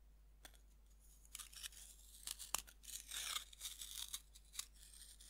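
A metal knife scrapes powder off the surface of a fist-sized, solid pink pressed-powder bath bomb held in a hand over a wooden board. Quiet, dry, gritty scrapes and crunches come in short, bright bursts over a faint low hum. A few sharper clicks stand out among them.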